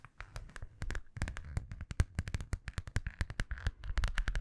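A small, hollow holographic metallic vinyl zippered pouch is held in both hands and tapped with long nails. The result is a quick, irregular run of sharp, dry clicks with a dull low thump under each one. The clicks are densely spaced and stop almost at once, with no ring.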